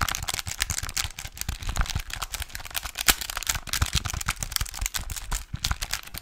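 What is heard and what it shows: Fingertips and nails tap and scratch the button keys and casing of a small plastic pocket calculator with a display, held upright. Dense, rapid, dry clicks and scratchy rustling fill the clip, bright on top with low thumps beneath. Each tap stops almost instantly with no ring.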